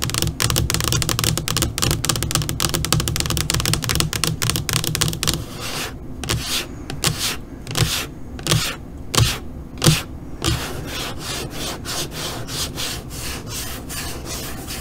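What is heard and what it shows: Long nails on both hands scratch and tap across the surface of a flat black LCD computer monitor screen. A dense flurry of quick, crisp clicks in the first half gives way to a few separate, louder taps and swipes with bright hiss, then softer continuous scratching to the end.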